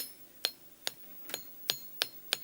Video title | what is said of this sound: Malachite and a pioneer smithy | rings like metal it's very dense and it takes a high polish